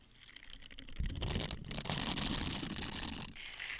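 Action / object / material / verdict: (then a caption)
scrape / silicone dish scrubber / silicone / none. Small hollow blue silicone dish scrubbers with a bristly texture are held close to the microphone and squeezed, flexed and rubbed with the fingertips; one scrubber is handled at first and two by the end. Faint rubbing gives way to a soft low thump at about one second, then a dense, bright, crinkly scratching that rises and continues before easing to a quieter rub near the end.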